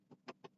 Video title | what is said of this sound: I Was Wrong... Again! Also Tuning STi on Cobb | something that looks like vinyl shouldn't sound like aluminum when you tap it